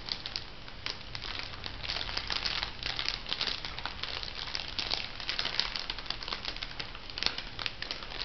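A small, soft, hollow light-blue crinkly plastic cosmetic packet is crumpled and scrunched between fingertips with long nails. Dense, bright crinkling and crackling runs continuously for about eight seconds, with sharp snaps standing out over a faint low hum.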